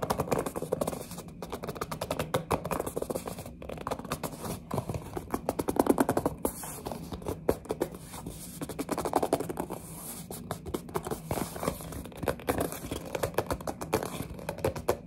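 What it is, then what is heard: Small cardboard toy box. A small printed cardboard box of mini building blocks, held in both hands, is tapped and scratched on its sides with long nails. Quick, dull taps and scrapes run steadily through the clip, mostly in the low-mid range with little brightness, and each tap dies away almost at once.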